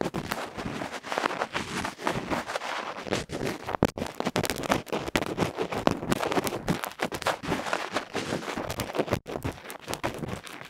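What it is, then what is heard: Microphone capsule scraped directly. A bamboo ear pick rapidly scrapes and scratches the dark felt face of a small, uncovered, roughly 1 cm cylindrical metal electret microphone capsule held in the fingertips, and that capsule is itself the recording mic. The result is a dense, harsh stream of close scratching and crackling bursts across the full range, with sharp clicks and brief dropouts throughout.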